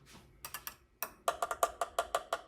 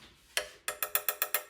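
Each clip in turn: First: plastic RC truck part. Second: metal RC truck body part.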